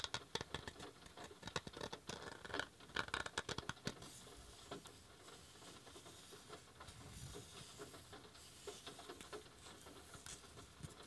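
A handmade wooden coaster is tapped with a quick run of sharp, short clicks, densest in the first few seconds and then lighter and more scattered. A soft, steady patter of rain falling outside runs underneath.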